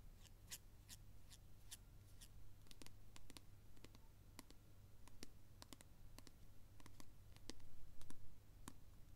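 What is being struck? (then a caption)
Plastic squeeze tube. A small cream-colored plastic squeeze tube of hand cream is held in the hands and tapped and clicked with the fingernails. It makes quick, dry, irregular clicks that die away almost at once, over a steady low hum. The taps grow a little louder near the end.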